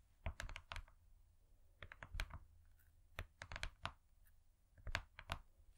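Long nails tap rapidly on a thin, flat, gold-foil-laminated cardboard cake board that has been turned over. The clip is quiet, with bursts of crisp, dry clicks that cluster in quick runs separated by short pauses. Each tap dies away almost at once over a low, dull undertone.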